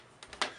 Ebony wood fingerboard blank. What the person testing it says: Ebony's got an excellent tap tone.